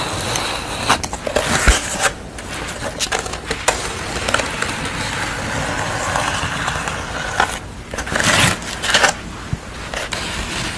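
Fingertips and long nails rub and scratch a flat piece of corrugated cardboard with a colourful pastel face drawn on it, resting on a towel. A steady stream of crisp, dry scratching and crackling runs throughout, with brighter, rougher bursts of scraping near the end.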